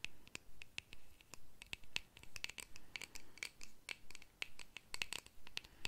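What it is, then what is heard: Small round metal tin. Long fingernails scratch and tap the surface of a small, round, shiny, hollow metal compact or tin held in the fingers. The result is a quiet, uneven series of short, dry scratchy clicks with a brief bright metallic ping near 2.6 kHz. Each one dies away almost at once.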